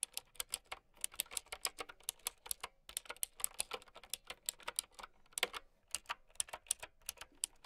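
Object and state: Plastic mechanical keyboard being typed on.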